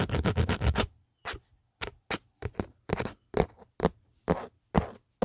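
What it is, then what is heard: Hard plastic phone case. A fingertip and nail tap and scratch around the embossed logo and the edge of an empty black Otterbox phone case with a textured hard plastic outer back. A fast run of dry, close scratches gives way to short, separate scraping strokes and taps with little ring, mostly low with a soft, brushy top.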